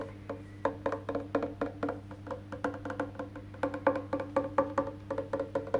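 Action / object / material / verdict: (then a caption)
tap / wooden electric bass guitar body and maple neck / wood / none. Fingertips tap and drum on the back of an electric bass guitar, on its solid painted wood body and maple neck. About thirty quick, dry, woody knocks ring near 535 Hz with short decays and bright clicky attacks, over a steady low hum.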